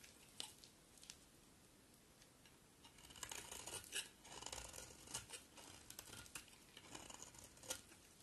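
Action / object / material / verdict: scrape / soap bar shaved with a knife blade / soap / none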